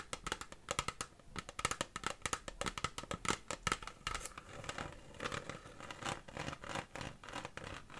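Long fingernails tap and scratch near the bottom of a large, hollow, empty clear plastic (PET) water bottle. The result is a rapid run of crisp, bright clicks with a short, hollow plastic ring. After about 4.5 seconds it turns to softer, denser scratching with scattered taps.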